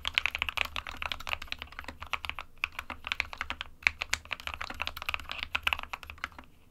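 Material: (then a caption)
Plastic. A small 60% mechanical keyboard with a white plastic case and plastic keycaps, resting on a desk mat, is typed on continuously with the fingertips of both hands. Dense, crisp clicks and clacks come in quick irregular bursts, bright and dry with almost no ring, and the typing trails off at the end.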